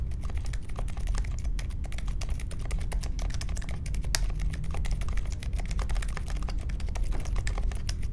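Fingertips type steadily on the plastic keycaps of a compact Polaris mechanical keyboard with a metal case and Silent Alpaca switches, resting on a marble desk. A continuous stream of soft, muted keystrokes has a deep, low-heavy thock with only faint bright clicks. The sound stays even and quiet throughout.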